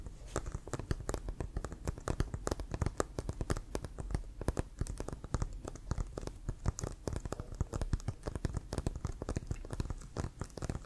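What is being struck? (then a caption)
Inflated leather American football. Fingernails rapidly tap and scratch the surface and lace area of a hollow, inflated leather American football held close to the microphone. The result is a dense, continuous patter of short, dull, low-heavy taps with quick scratchy strokes and almost no ring.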